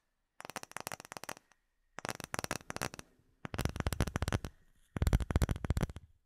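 Fingertips and short nails tap a flat, solid, clear acrylic plate with embedded bubbles, held in both hands. Four bursts of quick, uneven tapping are heard, each a cluster of short, dry clicks with a soft low thump, separated by brief pauses. The last two bursts are louder and fuller.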